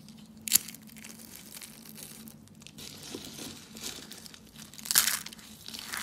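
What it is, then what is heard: Dry soap flakes being crumbled. Pink, white and blue brittle dry soap shavings are crunched and crumbled between the fingertips over a heap of soap flakes. Bright, dry crackling and crinkling runs throughout, with sharper crunches standing out near the start and again about two-thirds of the way in. A faint low hum sits underneath.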